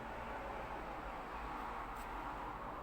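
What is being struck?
Nothing is struck.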